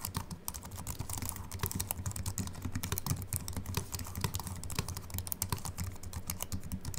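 Continuous fingertip typing with both hands on a slim aluminium-bodied Apple Mac keyboard with white plastic keys gives a rapid, steady stream of short, soft clicks. A faint low hum runs underneath throughout.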